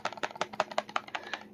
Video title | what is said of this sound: Gen 2 Kobalt 24 Volt Impact Driver Issues | you don't need to shake it that violently to feel it or hear it